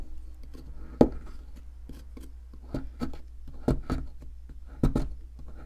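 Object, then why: Plaster excavation block scraped with a metal chisel. A metal chisel scrapes and taps at a solid white plaster fossil excavation block held by hand. About seven short, dry scraping knocks stand out over a steady low hum, each dying away almost at once with little ring.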